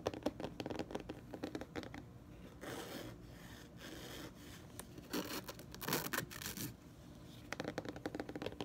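Fingertips and nails scratch and tap the front of a large, solid hardcover dictionary with a glossy cardboard cover, held upright. Quick dry taps cluster at the start and end, while the middle holds longer rasping scratch strokes with a few brighter, hissier bursts. It stays quiet and close throughout, with no ring after each touch.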